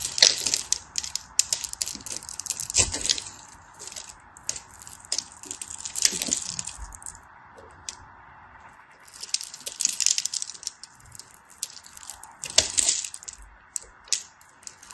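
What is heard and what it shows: A small craft blade scrapes along the edge of a solid, translucent pink glycerin soap bar with a scored surface, held in hands with white nails, and flakes fall off. Dense, bright, crackly scraping comes in bursts throughout, with sharp crisp ticks and almost no low end.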